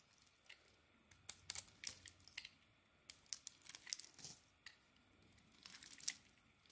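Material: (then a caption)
Soap. An oval, pale yellow soap bar is shaved into curls with a metal blade. The result is a quiet series of crisp, bright scraping and crackling strokes that come in short bursts with faint hiss between them.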